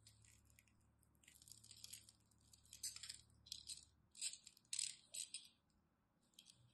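A small knife blade scratches and cuts the surface of a solid, dry rectangular bar of purple and white striped glycerine soap held in the hand, sending soap flakes falling off. Quiet, crisp scraping and crackling come in irregular bright bursts with almost no low end. A faint low hum runs underneath.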